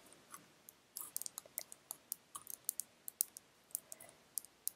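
Long red nails tap and click on a small orange-filled glass nail polish bottle held up in the fingers. About 21 quiet, sharp, high-pitched clicks come in an irregular rhythm, each dying away almost instantly with hardly any low end.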